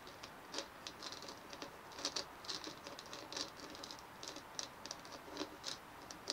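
Long fingernails of both hands tap and scratch the top of a white hollow plastic dimpled ball resting on a wooden table. The result is a quiet, rapid patter of dry, bright clicks and brief scratches that die away almost at once, with almost no low end.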